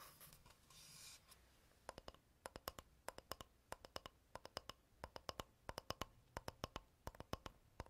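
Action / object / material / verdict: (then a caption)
tap / flat wooden board / wood / none. Fingernails scratch and then tap the surface of a flat, rectangular, light, solid wooden board held upright. A soft scratching opens the first second, followed by a long series of sharp, dry clicks with almost no ring, some spaced apart and others in quick clusters.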